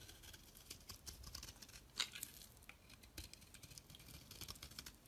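A metal blade scrapes across a solid, palm-sized lilac soap bar held in the hand, shaving thin curls off its surface. The result is a quiet run of dense, crisp, bright scraping and crackling ticks, with one sharper, louder scrape about two seconds in.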